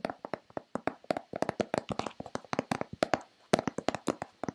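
Long red-painted nails tap rapidly on a hollow white plastic Nivea lotion bottle, giving a quick run of about 25 short, dry clicks. Each tap has a hollow midrange knock with a bright clicky edge and almost no ring, landing in uneven bursts.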